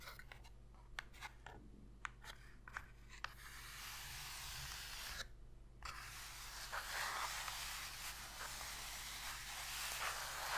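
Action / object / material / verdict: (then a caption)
scrape / cardboard box lid / cardboard / none. Two long pink fingernails scratch and rub the inner bottom of an empty, shallow white cardboard box lid, and both hands then rest flat on it. It opens with sparse, sharp, dry clicks and taps, then moves into continuous bright, papery scratching that pauses briefly before a steadier, slightly louder rubbing carries on to the end. A faint low hum sits underneath throughout.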